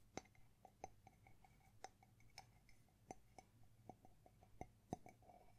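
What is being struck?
Small ceramic mug.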